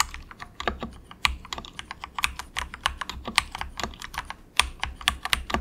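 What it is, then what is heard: Plastic mechanical keyboard. Fingertips of both hands type softly on an inexpensive compact mechanical keyboard with grey plastic keycaps. A steady run of quick, bright plastic clacks rises and falls in strength, each one dying away at once over a faint low thud.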